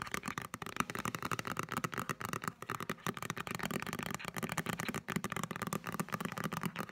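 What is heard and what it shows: Fingertips and nails tap rapidly on the front card cover of a solid green paperback novel held upright. The taps are quick, dry and closely spaced, with very short decay and a papery midrange tone around 1.2 kHz.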